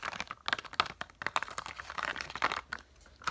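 Long nails tap the plastic domes of a pop-up dot sticker sheet held upright in both hands, producing a quick, irregular series of dry, bright plastic clicks with a faint crinkle. Each tap stops almost instantly with no ring, leaving quiet gaps between the clicks.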